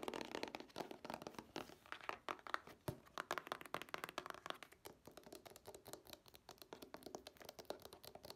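A hollow Scooby-Doo DVD two-pack made of plastic cases with a printed cardboard sleeve is tapped and scratched with long nails. The result is a dense, quiet stream of rapid, dry clicks and crinkly scratching with almost no low end and no ring after each tap.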